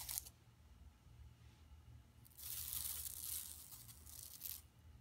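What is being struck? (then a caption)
Woven plastic mesh shopping bag. Long nails scratch across a flat, empty yellow woven plastic mesh tote bag lying on carpet. The result is quiet, bright, dry rasping: a brief burst at the start, a longer sustained scratch in the middle, and a short final stroke, all over a faint low hum.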